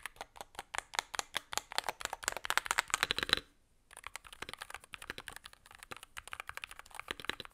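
Typing on a Varmilo Muse65, a 65% mechanical keyboard with a blue aluminum case, plastic keycaps and magnetic switches, using the gloved fingertips of both hands. Rapid, bright clacky keystrokes run steadily with very little low end. A short pause comes just past three seconds before the typing resumes at a slightly softer level.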